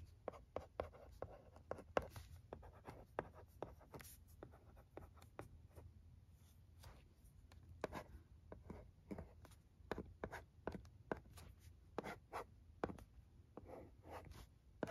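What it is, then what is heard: Plastic LCD writing tablet. A pencil-shaped stylus scratches and taps across the screen of a thin plastic LCD writing tablet resting on carpet while writing words. Many quick, dry ticks and short scratchy strokes come through, each dying away almost at once, over a quiet low rumble.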